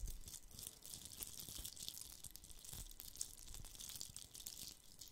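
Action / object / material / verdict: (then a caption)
scrape / glitter-coated hollow plastic Christmas bauble / glittered plastic / none. Fingernails scratch a red, glitter-covered hollow plastic Christmas bauble with a gold cap, held close to the mic. The result is a quiet, continuous gritty rattle of rapid tiny scrapes, bright and hissy up high, over soft low thumps from handling.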